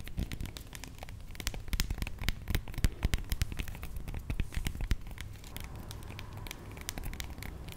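A whole, fist-sized, solid avocado with dark, bumpy skin is held in the hands and tapped and scratched with long manicured nails. Quick, irregular crackly clicks and scratchy rustles sit over a soft, low thud, with sharper taps standing out in the middle of the clip. The sound stays quiet and close throughout.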